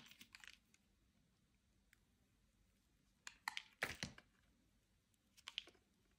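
A metal utility-knife blade shaves and cuts into a solid, dry, hand-sized rectangular white bar soap held in the hand, scraping off thin crisp slices. Short, bright, crunchy scrapes come in uneven clusters, with a strong burst near the middle, separated by quiet pauses. Each cut stops dry and close with almost no ring.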